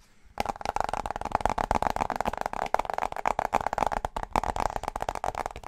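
Fingertips and nails tap rapidly on the flat metal underside of a slim aluminum wireless keyboard with a cylindrical battery tube, held near the mic. The dense run of quick, dry taps has a hollow midrange tone around 750 Hz that dies away almost instantly, with little low end or brightness.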